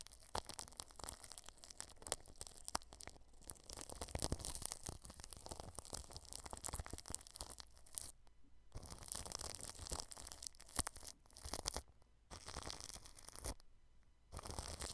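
A small red-handled brush rubs and scrapes plastic cling film wrapped over a microphone, near the grille. The result is a dense, crinkly, scratchy rustle with a bright hiss and a low thumping undertone. The brushing stops briefly for short pauses near the middle and toward the end.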